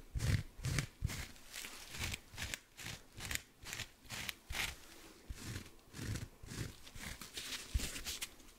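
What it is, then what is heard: Cellulose sponge with scrub pad, scratched and squeezed. Fingertips and nails scratch and squeeze a small, dry, soft blue kitchen sponge, with a cellulose side and a scouring-pad side, right beside the mic. About twenty uneven, close scratchy bursts come roughly twice a second, each with a soft low thump under a bright, crisp crackle. They fade quickly with no ring.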